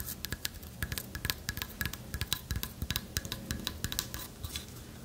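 Long fingernails tap and scratch a carved owl figurine of light wood with a hollow lattice body. Quick, dry, bright clicks arrive in an uneven stream, each with a soft low knock beneath it. A faint scratchy rustle fills the gaps, and the taps die away almost instantly.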